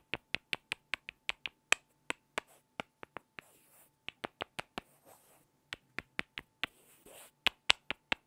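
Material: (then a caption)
Wood. Two small solid light-wood blocks are tapped together and scraped edge to edge by hand. There are 27 sharp, bright, dry clicks with almost no ring, broken up by a few soft, hissy scraping stretches.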